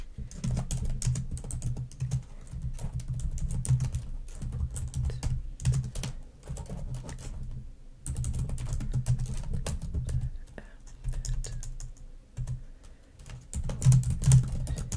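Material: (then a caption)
Plastic. A black plastic laptop keyboard resting on a fluffy rug is tapped and typed on rapidly with long acrylic nails and fingertips. Dense, irregular bursts of clicky key taps and nail ticks ride over a heavy, low thumping body. There are brief pauses near 8 and 12 seconds before the typing resumes.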